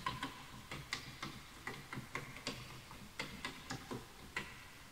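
Fingertips type on a full-size bamboo wood computer keyboard with wooden keys, while the mouse is not touched. Thirteen separate, quiet key taps sound dry and hollow, each a short woody click with a bright top that fades quickly, spaced unevenly like slow typing.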